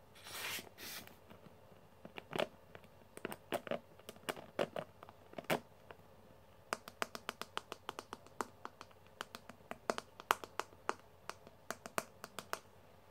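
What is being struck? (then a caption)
Plastic hairbrush with metal pins. A pink plastic hairbrush with metal pins: fingers first flick the bristles in soft, bright rustling bursts, then fingernails tap and rub the smooth, hollow plastic back of the brush. Crisp, dry clicks follow one another with very short ring, alongside faint scratchy rubbing, all at a quiet level.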